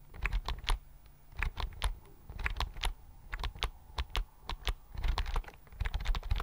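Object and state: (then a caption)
Plastic computer keyboard. Fingertips type on the keys of a slim white plastic computer keyboard held close. Quick bursts of short, dry clicks come with brief pauses between them, each key giving a soft low thump with a bright tap on top that stops almost at once. The typing picks up into a denser run toward the end.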